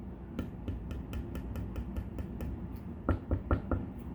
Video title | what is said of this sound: Great Guitar Blow Off Day14 Binding and tap tone testing | It sounds different no matter what finger I use to tap on it, or how hard I tap on it